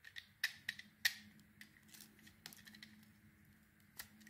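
A solid oval pale green and cream bar of soap, held in the hand, is scraped with a metal knife so that layers of shavings peel off. The clip has a series of short, crisp, bright scraping clicks, loudest in the first second and then fading to softer, scattered strokes. A faint low hum sits underneath.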